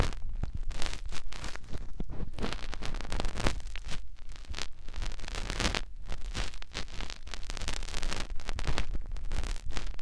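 Fingertips rub and press into the ear canal of a white soft silicone ear on a white binaural microphone body. The sound is a close, continuous stream of rustling, scraping and crackling friction, with a deep low rumble underneath and dense, rapid bursts throughout.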